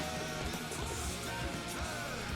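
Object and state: Nothing is struck.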